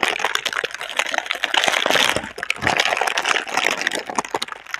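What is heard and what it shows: Long red nails scratch and crinkle the thin film of a clear, hollow, soft plastic air-cushion packaging tube held between both hands. The result is a dense, continuous crackle of bright, papery rustles and sharp ticks with almost no low end, with a brief lull midway before the crinkling picks back up.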